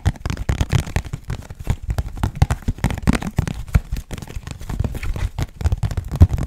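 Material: Cardboard.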